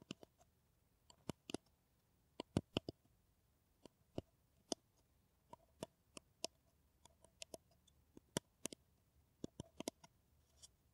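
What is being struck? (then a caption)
Paper coffee cup. A hollow kraft paper coffee cup, shown in close-up, is tapped with long nails, producing about 25 quiet, sharp clicks at irregular intervals. Each tap is a brief, dry, hollow tick that dies away almost instantly.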